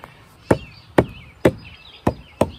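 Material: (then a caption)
Wood. A steel single-bit axe on a wooden handle strikes a large, solid, weathered standing tree trunk with its bark partly gone, outdoors, while the tree is being felled by hand. Five short chopping blows land at an uneven pace, each a sharp woody thud that dies away almost at once, with faint high warbling tones in the background between strikes.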